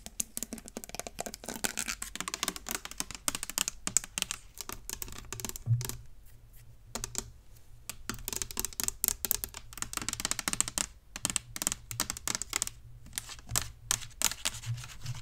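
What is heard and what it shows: A hand-sized, hollow, apparently empty clear plastic spray bottle with a black trigger sprayer is tapped and scratched with long acrylic nails close to the microphone. Rapid, dry, bright clicks and scratches run almost continuously, with a few brief pauses and a faint low hum underneath. Each tap dies away instantly.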